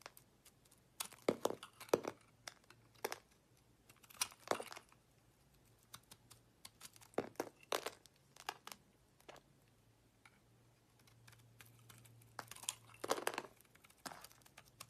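A rectangular, solid, opaque pink Becita soap bar is held in the hand while a utility-knife blade chips and shaves crumbly pieces from it. Dry, crisp scraping and crunching bursts come in irregular clusters with short pauses between them, over a faint steady low hum.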